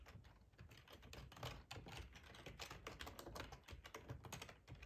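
Fingertips type steadily on a black plastic ergonomic split keyboard with a hollow housing, resting on a cloth tablecloth. The keys give a dense run of quick, soft clicks and taps with a low, hollow body and brighter clacks on top, each dying away almost instantly.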